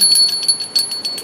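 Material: Brass.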